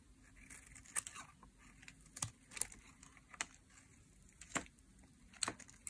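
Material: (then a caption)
Glycerin soap. A utility knife blade scrapes and peels thin slices off a solid bar of translucent pink glycerin soap held in the hand. Several short, sharp, bright scraping crackles stand out against a quiet, faint background hiss. Each stroke ends almost instantly with no ring.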